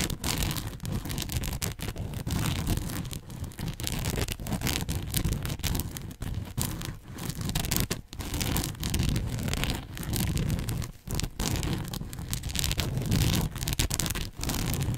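Long nails scratch and pick at the surface and seams of a red and white fabric bow headband held partly behind a microphone. The result is a continuous, close, scratchy rustle with a heavy low rumble and bright crackling edges, broken by brief pauses between strokes.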